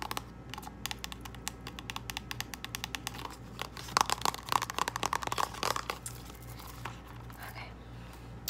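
Long nails tap and scratch a small, hollow purple cardboard false lash box, making quick, dry, light clicks over a low steady hum. Midway the taps grow louder and denser, with scratchy bursts, then settle back to softer, sparse tapping.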